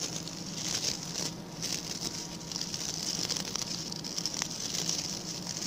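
Fingertips and nails of both hands scratch the stiff brown bristles of a small, round, ring-shaped coir (coconut fiber) brush with a pink handle. The result is a steady, bright, crackly patter of fine scratches that continues without a break, with a faint low hum underneath.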